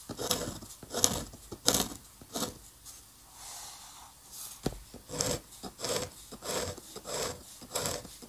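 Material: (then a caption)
Paper. A steel-nib dip pen scratches lines and hatching onto a flat paper drawing sheet. About nine bright, scratchy strokes sound in an uneven rhythm, with a softer, smoother pass in the middle.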